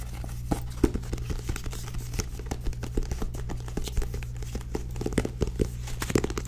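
Long nails tap and scratch the glossy card back cover of a small purple-bordered paperback book held upright. Many quick, dry clicks and brief scratchy swipes are heard over a steady low hum.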